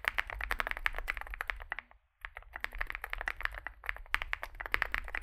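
Two hands type with their fingertips on a Zoom65 65% mechanical keyboard with a solid metal case and grey and white SA-profile plastic keycaps, resting on a desk mat. Rapid, clacky key presses ring out with a bright, poppy tone centered near 2 kHz and a low thock underneath. The typing stops for a brief near-silent pause around the two-second mark, then resumes at the same quick pace.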